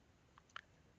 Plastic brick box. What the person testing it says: you shake this you can hear that there's something just maybe a little loose in there